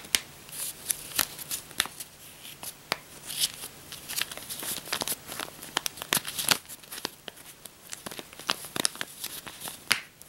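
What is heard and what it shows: A thick stack of US paper dollar bills is held in the hands, its edges riffled and flipped with the fingertips and long nails like shuffling cards, above a pile of bills lying on a bedspread. A quick series of crisp, bright papery snaps and flutters rises over soft crinkling, each click dying away almost at once. The sound is light and high, with almost no low end.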